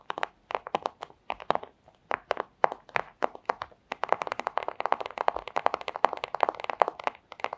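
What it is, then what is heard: Plastic sleeve. Very long acrylic nails tap and scratch a flat, thin, crinkly clear plastic pouch lying on a table with a red item under it. Sharp, dry crinkling clicks come in scattered bursts at first, then turn into a dense, rapid flurry of taps and scratches. The sound sits in the mids with bright edges and no low end.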